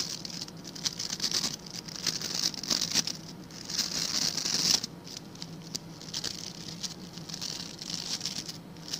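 Fingertips rapidly scratch and flick the tufts of stiff white and blue plastic bristles on a hand-sized blue plastic scrub brush held close up. The result is a dense, bright, crackling patter of quick, dry ticks with almost no low end. It swells louder in the middle, cuts off sharply just before five seconds, then continues more softly.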